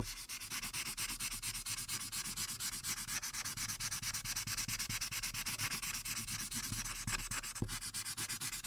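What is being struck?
Marker tip on a paper sheet.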